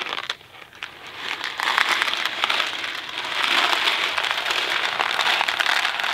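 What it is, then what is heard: Cardboard box of dry macaroni. A small Kraft mac and cheese cardboard box filled with dry pasta is held flat in both hands, tapped with the fingertips and tilted. The pasta gives a dense, bright, crinkly rattle over soft fingertip taps. The sound starts quiet, then grows louder and more continuous as the box tilts.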